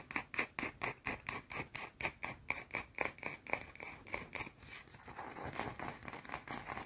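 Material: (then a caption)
Soap. Long teal nails scratch a small, solid, round white soap bar held in both hands and partly hidden by the fingers. For the first four and a half seconds the scratches come as quick, bright, separate strokes about four per second. Then they blur into a steadier, continuous high scraping.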